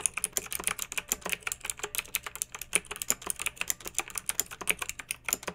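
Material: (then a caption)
Plastic. Long-nailed fingertips type steadily on a pink mechanical keyboard with round retro plastic keycaps and blue backlight, resting on a fluffy rug. The result is a rapid stream of crisp, bright plastic clicks and clacks that die away almost instantly, with very little low end.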